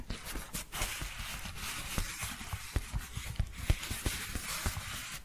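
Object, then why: Padded paper bubble envelope. A large, empty, flat yellow paper padded bubble mailer with an Amazon smile is held upright beside the face and tapped and scratched with long painted fingernails. A steady papery scratching hiss runs throughout, broken by several sharp, short taps with a dull low thump beneath.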